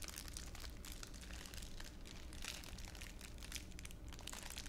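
A thin clear plastic wrapper is squeezed and crushed by fingers in a cupped hand. It makes a steady, dense stream of bright, crackly crinkling over a constant low rumble, with no pauses through the clip.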